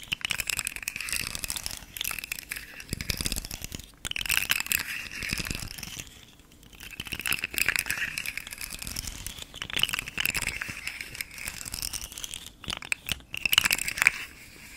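A hand-held, rainbow-colored, segmented hard plastic articulated fidget slug toy has its segments flexed and clicked while fingernails scratch across its ridges. Dense, bright, crinkly clicking and rasping comes in bursts, with a brief lull around the middle. Sharp clicks stand out near the end over a steady high hiss.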